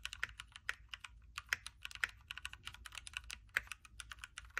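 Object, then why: Mechanical keyboard with plastic keycaps. Both hands type continuously with fingertips on a backlit Keychron Q3 mechanical keyboard with a knob, hot-swappable red switches, a metal case and plastic keycaps, resting on a desk mat. A quick, uneven run of short, crisp clacks centred near 1.9 kHz with bright highs, each dying away almost instantly, with louder strokes standing out over a faint low background.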